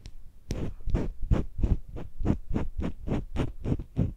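A thin metal blade on a white handle scrapes inside the ear canal of a life-size hollow soft silicone ear model with a microphone inside, held by a gloved hand. About fifteen short, repeated scraping strokes sound at a quick, uneven pace, heavy and muffled with a deep, close rumble and a brief bright edge on each pass.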